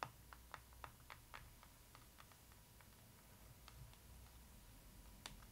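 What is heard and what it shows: Long acrylic nails tap and scratch across the glossy printed front cover of a closed, solid hardcover photo book with board covers. About ten quiet, sharp, bright clicks land at an irregular pace, each dying away almost at once. Between them is a low background rumble and a faint steady tone.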